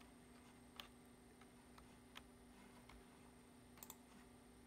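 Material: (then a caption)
Plastic. Fingertips tap sparsely on the keys of a black plastic computer keyboard, giving short, dry, irregularly spaced clicks. They play over a quiet, steady low hum and a faint high whine. Two quick clicks land close together near the end.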